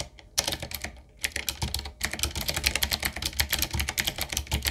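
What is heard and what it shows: A full-size, typewriter-style retro mechanical keyboard with a solid body, round plastic keycaps on a dark metal plate and a wooden-looking frame is typed on with the fingertips of both hands. Rapid, bright, sharp clicks and clacks come in irregular bursts with very short decay, over a faint low hum.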